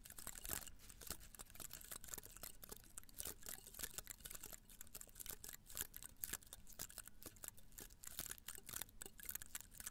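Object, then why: Cactus spines in a pot. Long nails scratch and flick the spines of a small potted cactus in a red-brown pot held close to the mic. It makes a rapid, steady stream of short, dry, crackly ticks with bright, high hiss and almost no ring. A faint low rumble sits underneath throughout.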